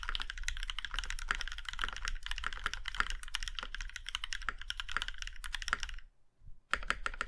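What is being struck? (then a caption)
Mechanical keyboard with metal case. A compact Iron 165 mechanical keyboard with a plum-red aluminum case and black keycaps is typed on with both hands, giving a fast, dense run of crisp, bright clacks over a low thock. After a brief near-silent pause, one fingertip presses the spacebar and a hand presses the modifier keys, bringing a few sharper clicks.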